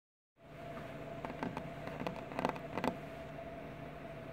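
Tapping on glass bottles: a string of sharp, clinking taps over a steady background hum with a faint tone. The taps come in small clusters, each dying away almost at once.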